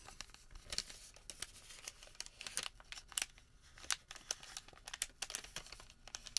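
A thin sheet of printed white thermal paper receipt is rolled, folded and rubbed flat on a table with bare fingertips and palm. Soft, dry crinkles and sharp, bright crackles come in quick irregular bursts over a faint hiss, with almost no low end. Each crackle stops dead with no ring.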